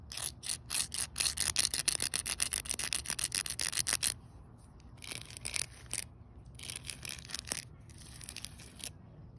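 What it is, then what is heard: Pebble-studded concrete ground, solid. A small stick held by the fingertips scrapes in rapid strokes across a solid outdoor concrete slab set with rounded pebbles. For about four seconds the scratches come as dense, bright, gritty bursts; then they turn quieter and sparser, with occasional sharper strokes.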